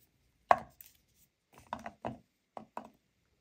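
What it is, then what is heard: Pile of natural cork wine stoppers. Both hands with long nails dig into a large white bowl of dozens of small, solid, dry natural cork wine stoppers and rub them together. The corks clatter in a series of short, dry, hollow knocks with a woody midrange tone and almost no ring, and a louder burst opens the sequence.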